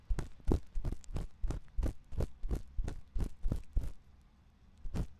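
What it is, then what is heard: Silicone ear of binaural microphone being scratched. A thin metal ear pick scratches inside the canal of a white silicone ear on a 3Dio binaural microphone. It makes a steady run of short, scraping, thumping strokes heavy in low rumble with faint bright crackle, then a pause before one last stroke.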